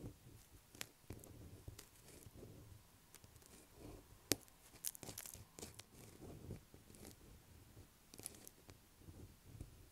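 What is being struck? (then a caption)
Solid bar of soap. A light blue solid bar of soap lying on a table is scratched with the tips of long black acrylic nails. The result is quiet, dry scratching and crinkly scraping, with brief sharp clicks standing out.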